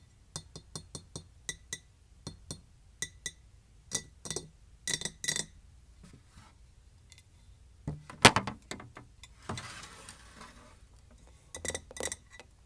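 A ceramic container with a wooden top is tapped in a quick series of short, bright clinks with very little ring. The taps come in small runs with pauses between them, and a louder knock is heard near the middle. A brief rustle follows, and then a few more taps.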